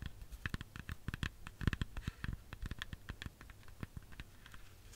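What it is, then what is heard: Red apple tapped with fingernails. Long fingernails tap rapidly on the skin of a solid, whole red apple, making a quick, irregular patter of soft, dull thuds, each with a bright clicking edge. The taps are quiet and die away almost instantly.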